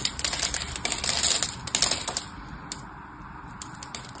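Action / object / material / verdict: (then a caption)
scrape / bar of soap scraped with a small metal blade / soap / none. A small metal knife blade scores and scrapes the surface of a single solid orange-and-white striped bar of dry soap held in the hand, chipping off crumbly cubes. Dense, bright, dry crackling and scratching comes in irregular bursts, loudest through the first two seconds. It then eases into a quieter scrape with a few sharp clicks.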